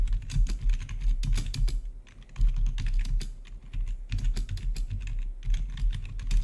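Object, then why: Plastic membrane keyboard. Fingertips of both hands type rapidly on the keycaps of a full-size black plastic membrane-style gaming keyboard with blue-to-red RGB backlit keys. Quick bright clicks and clacks fall in dense bursts over a low rumble, with a brief lull near the two-second mark before the typing resumes.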